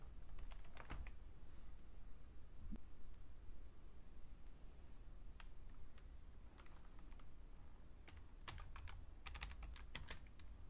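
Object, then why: Plastic computer keyboard. Fingertips with painted nails type on the keys of a vintage beige Fujitsu Siemens full-size plastic keyboard resting on a red mat. Soft, quick clicks come in irregular bursts with brief pauses, each tap short and dry with a faint bright edge over a low steady rumble.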